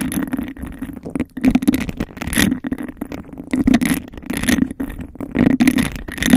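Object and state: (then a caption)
Textured glass cup. Long acrylic nails rapidly scratch and tap the bumpy surface of a hollow, empty, hand-sized cup of embossed glass. The result is a dense, continuous run of gritty scraping and quick clicks, with a steady hollow resonance around 250 Hz. Bursts of bright, high rasping swell and fade throughout.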